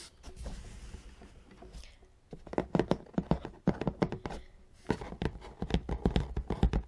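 Long, dark-painted nails scratch and tap across the top of a large, closed, hollow black cardboard ZBOX subscription box with a white logo on its lid. A soft, breathy scratching opens the clip, followed by a rapid series of sharp, hollow taps with a low, boxy thump and almost no ring.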